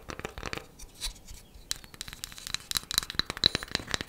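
A wooden coaster is tapped quickly with fingernails, producing a rapid, uneven run of light, dry clicks. Each tap is short and bright with almost no ring, and a faint high tick rises on the sharper strikes toward the end.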